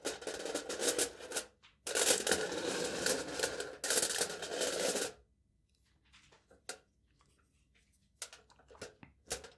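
Aluminium foil stretched taut over a cup, held in hand, is tapped and poked with the tip of a metal knife. Three bursts of dense, rapid crinkly tapping with bright, papery edges fill the first five seconds. After that come sparse, quiet individual ticks and taps.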